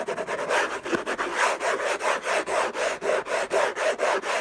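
Fingertips and short nails scratch the lid of a closed, long rectangular orange Hermès gift box made of cardboard covered in textured paper, lying on a fluffy blanket. About 14 quick, dry rasping strokes repeat in a loosely steady rhythm, each a short scratchy burst centred in the mids with a bright papery edge and little low end.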